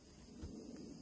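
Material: Nothing is struck.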